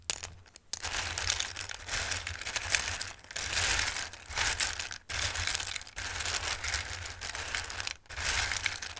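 Flat hands press and rub across a bowl full of raw, dried Christmas pasta shapes, making a dense, bright, crunchy rustle and shuffle. The sound comes in long continuous waves with brief pauses between the strokes.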